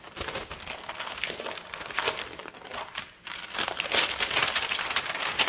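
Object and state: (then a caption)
Kraft paper mailer bag being crinkled. A large, thin, brown kraft paper Staples mailer bag, empty and flat, is folded, lifted and crinkled by fingertips with long red-painted nails. The result is a steady stream of dry, bright crinkling and crackling that briefly quiets just after the three-second mark, then returns louder and busier until the end.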